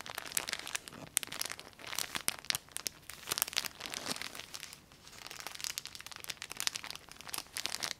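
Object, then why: Thin plastic bag with soft fabric inside. A transparent plastic bag holding a folded red textile item is held up close and crinkled and squeezed with long painted nails and fingertips. It gives dense, bright crackling crinkles with sharp, quickly fading snaps and almost no low end, pausing briefly near the five-second mark before the crinkling resumes.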